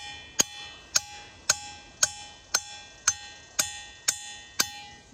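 A diabase boulder at Ringing Rocks Park in Pottsgrove, Pennsylvania is struck nine times with a hammer at a steady pace. Each strike gives a sharp, bright metallic clang with a lingering bell-like ring. Though it was expected to make little sound, the rock rings like a bell.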